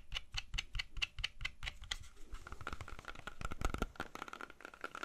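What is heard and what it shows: Fingernails rapidly tap a whole, solid red-yellow apple while it is rotated in the hands. The clip opens with evenly spaced, crisp clicky taps, each with a dull low thump and a bright tick. The tapping then turns faster and denser, with a faint steady tone running underneath.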